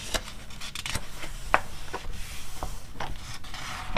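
Long red nails and fingertips rub, scratch and tap across the printed pages of an open glossy paper animal magazine, with pages flipped between spreads. Soft papery scraping and rustling is punctuated by short, sharp clicks and crinkles.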